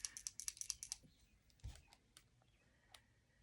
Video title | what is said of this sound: Temu haul and slipper review | You hear that little ball in there.